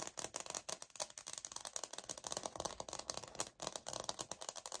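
Long nails tap and scratch the grain-textured surface of a light oak laminate wood-look floor sample held and tilted in the hands. The result is a rapid, uneven run of dry, bright clicks and scraping rasps with almost no low end and no ring after each hit.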